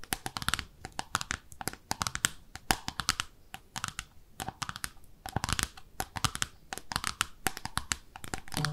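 Long nails tap rapidly across the underside of a small pink, speckled ceramic soap dish shaped like a bathtub. The taps are sharp, bright clicks in quick irregular bursts, each dying away almost instantly with a faint mid-pitched ceramic tone.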